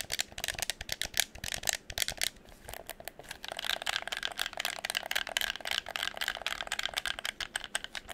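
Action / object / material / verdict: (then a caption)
tap / plastic game controller / plastic / none. A hollow red plastic game controller is held close to the microphone while fingers tap and scratch its shell, press its buttons, and turn and shake it. The result is a dense, dry stream of rapid, bright plastic clicks and rattles centered around 2.3 kHz, with almost no low end and no ring after each tap.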